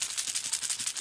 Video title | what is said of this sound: Ice fishing For Trout Lures! Five Deadliest Winter Lake Trout Lures | if you listen carefully they've got rattles inside